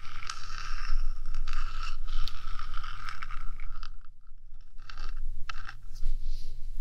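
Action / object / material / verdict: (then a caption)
scrape / small hollow metal microphone housing / metal / none. Long dark nails scratch and tap the top of the small, hollow, purple-painted metal body of a 3Dio binaural microphone. A steady rasping scrape with a bright metallic edge runs for about four seconds, dips quiet briefly, then returns as lighter scratches and taps. A low hum sits underneath throughout.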